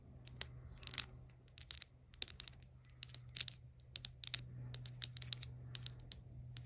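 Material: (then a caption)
Plastic. A small Mini Brands toy, a tiny Vaseline-style jar with a clear or cream plastic body and a dark blue plastic lid, is held in the hand and tapped and scratched with long acrylic nails. The result is a rapid, irregular run of sharp, bright plastic clicks and short scratchy bursts that die away almost instantly, over a faint, steady low hum.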